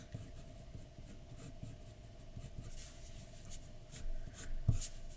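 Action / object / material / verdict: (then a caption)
scrape / pencil on a paper drawing sheet / paper / none. A pencil tip makes rubbing and scratching strokes on a flat white paper sheet resting on a dark desk. Soft, continuous scratchy strokes come with bright, brushy bursts over a faint steady tone. The strokes grow slightly louder toward the end, with one sharper scrape near the close.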